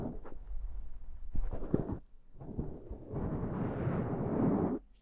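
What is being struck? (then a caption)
Foam microphone windscreen. Long dark painted nails and fingertips of both hands scratch and rub the soft, porous, fist-sized black foam windscreen on a handheld Zoom recorder. The result is a deep, muffled, rumbling crackle that comes in uneven bursts, with almost no brightness. It builds into a steady, dense rubbing before cutting off abruptly near the end.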